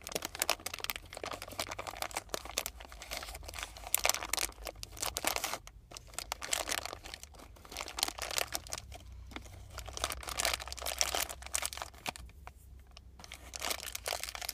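A small, colorful, crinkly plastic sweets packet, partly full, is crinkled and squeezed with fingers, giving dense, bright crackling and rustling in uneven bursts with brief quieter gaps. A steady low hum runs underneath throughout.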